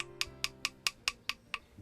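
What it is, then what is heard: Well-dried ink stick. A finished ink stick made of soot and glue is tapped seven times, each tap a short, bright, clear tick centered around 2.5 kHz that dies away almost at once, over a faint low musical hum. The clear ringing tap indicates the ink stick is well dried.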